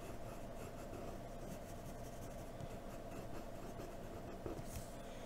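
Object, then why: Graphite pencil on paper sheet. A hand sketches facial details on a white sheet of drawing paper with a graphite pencil in a blue holder, lightly scratching the surface. A soft, steady, low-weighted scratching continues throughout, with a slightly sharper stroke near the end.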